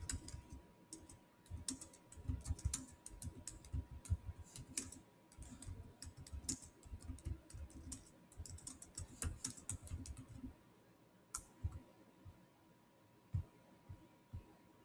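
A Samsung laptop keyboard with black plastic keys set in a silver body, with the touchpad beside it, is typed on quickly by the fingertips of both hands. Dense, dry plastic key clicks come in rapid bursts for about ten seconds, then thin out to a few scattered taps. A faint steady hum sits underneath throughout.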